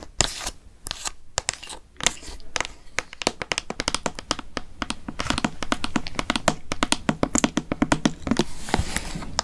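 A hollow orange plastic Halloween pumpkin container with a green plastic lid and paper label, apparently holding candy, is tapped with long fake nails. Many quick, sharp clicks and taps mix with crinkling and scratching over a low background hum.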